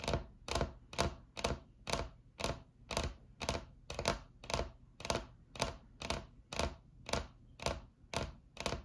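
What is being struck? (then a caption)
Laminate tabletop. Long acrylic nails on both hands tap a solid, flat white laminate tabletop 19 times, at about two taps per second in an uneven rhythm. Each tap is a short, dry click with a bright, crisp top and a low thump underneath, fading almost instantly.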